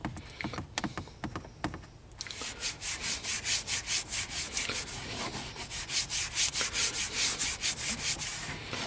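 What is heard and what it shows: Fingertips and short nails rub and scratch across the textured top of a large, dark, hollow molded plastic car dashboard above the air vents. After a few sparse scrapes, a steady run of bright, hissing strokes follows at about two or three per second, rising and falling in loudness.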